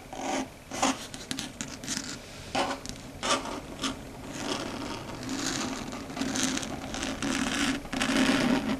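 Long red stiletto nails scratch and tap across a large, flat, dark gray solid chalkboard. The result is a series of dry, rasping scrapes and quick tapping bursts with bright, hissy edges, over a faint steady tone around 250 Hz. The scrapes grow longer and louder toward the end.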